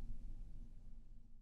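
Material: Nothing is struck.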